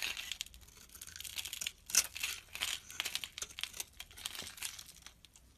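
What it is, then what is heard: Soap bar shaved with a blade. A small, solid pale green soap bar held in the hand is shaved into flakes with a metal utility blade. The clip is a rapid series of short, dry scraping and crinkling strokes, bright and crisp, with almost no low end. Each stroke cuts off quickly, with one louder scrape near the middle.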